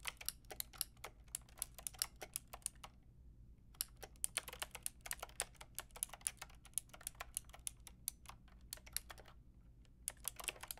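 Fingertips and long nails type on a full pink, grey and white mechanical keyboard with round plastic keycaps and a hollow plastic case. Rapid, bright, clacky keystrokes come in steady bursts with a brief pause around the third second, over a faint low background hum. Each click is sharp and dies almost instantly.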